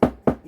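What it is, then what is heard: Edge trim fully seated on seat pan. Rubber/plastic edging trim pushed onto the edge of a Honda CB400T motorcycle seat pan is tapped down with a dead blow hammer. Three short, dull knocks are heard, centred around 250 Hz with almost no high end and a quick decay. The trim is fully seated on the seat pan.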